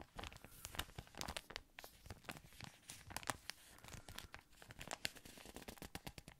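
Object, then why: Thin plastic ice cream wrapper. A thin, yellow patterned plastic ice cream wrapper is crinkled and scratched with fingernails. It gives a quiet, continuous stream of sharp, bright crackles and crisp scratching rustles that stop almost instantly.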